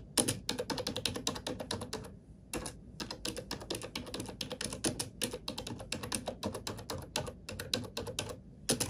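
Fingertips type quickly on a black plastic computer keyboard, making a steady stream of sharp, bright clicking keystrokes. There is a brief pause near the two-second mark before the typing resumes.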